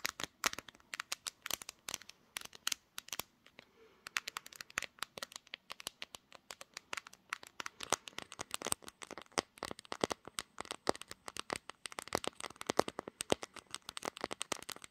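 Long green nails rapidly tap and scratch the pink glass back and edges of a smartphone, which is seen in a mirror. The result is a dense stream of sharp, bright clicks with almost no low end, pausing briefly near the four-second mark before resuming.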